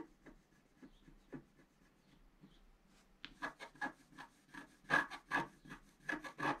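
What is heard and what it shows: A pointed wooden stick scratches a flat coated scratch-art paper card lying on a table in steady strokes. It starts with faint, soft scrapes, then after about three seconds turns to louder, rasping scratches, with about 11 separate strokes carrying a slight squeaky tone near 1.7 kHz and a bright, gritty edge.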